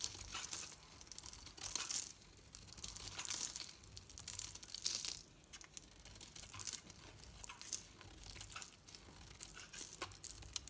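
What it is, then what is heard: Bar soap being carved. A metal knife carves curls off a hand-held solid green bar of soap with a dark painted coating. The cutting makes bright, dry, crinkly scraping bursts in an irregular rhythm, with a few longer, louder shaving strokes among quieter scratches.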